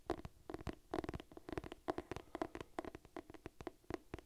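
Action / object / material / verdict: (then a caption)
tap / cloth-bound hardcover book / cloth, board / none. Long nails scratch and tap on the cover of a purple cloth-bound hardcover cookbook held close to the mic. A rapid, irregular series of short, dry, muffled taps with soft scratchy brushing comes through, centred in the low mids with a little high edge. Each tap stops almost instantly, with no ring.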